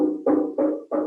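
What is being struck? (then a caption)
Metal resonator guitar body. A metal tri-cone resophonic guitar body is tapped repeatedly by hand, each tap giving a hollow, clanky metallic ring centered around 300 Hz that fades quickly. The tapped metal body has a tinny, not very pleasant sound.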